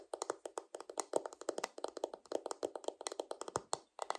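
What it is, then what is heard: Plastic paddle hairbrush. Long nails tap the smooth, hollow back of a purple plastic paddle hairbrush in a rapid run of about 32 short, dry, clicky taps with a hollow mid-range tone and almost no low end. The brush is then flipped, and the long nails scratch across its plastic bristles.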